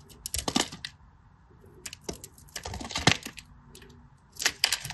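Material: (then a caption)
Soap. A hand-sized solid green bar of soap, held in fingers with short blue nails, is carved and scraped with a small metal blade. Dry flakes and chunks break off in crisp, bright crackling and scraping bursts, grouped into three flurries separated by quiet pauses.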